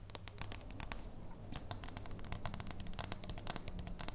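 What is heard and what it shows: Long nails tap and scratch across the back and edge of a solid dark chocolate bar held in the hands. A quick, uneven run of sharp, bright clicks and scratchy crackles sits over a steady low hum. The taps are crisp and dry, with almost no ring after each one.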